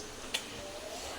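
A single small, bright crunch from home-made fried french fries, tested to show they are nicely crisp and not soggy. The short snap rises above a low background hiss and fades quickly. The fries come out crisp.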